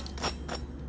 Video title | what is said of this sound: Jerk BBQ Chicken Crescent Ring Recipe - FIFA World Cup Easy Cheesy Recipe Everyone Will Love! | Listen to the crust sound. You hear that? Flaky. Crispy.